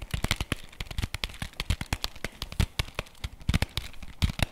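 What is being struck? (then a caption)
Thin cardboard box. Fingernails rapidly tap and scratch along the edges and face of a flat printed cardboard chocolate bar box held in the hands. The result is a quick, uneven run of dry, papery clicks, each with a soft low thud and a bright, crisp edge. The clicks die away almost instantly, with faint scratchy rustle between them.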